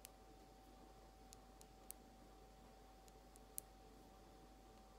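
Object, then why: Small glass bottle tapped with fingernails. Long almond acrylic nails slowly tap a small frosted glass nail polish bottle with a white plastic cap, held in hand. Eight sparse, bright, very short clicks sound over a quiet background with a faint steady tone and low hum.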